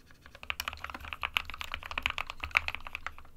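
Fingertips of both hands type continuously on an SK61, a small 60% white plastic-cased mechanical keyboard with plastic keycaps resting on a desk mat. A steady, uneven stream of quick, bright plastic clacks rises and falls, each key hit dying away almost instantly, with most of the energy up around 2.3 kHz and a faint low rumble underneath.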